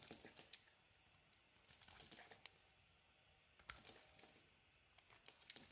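A utility-knife blade scrapes and carves powdery flakes off a solid cream-coloured bar of soap held in the fingers. The sound is a series of soft, dry, bright crinkly scrapes in irregular bursts, with quiet pauses between them.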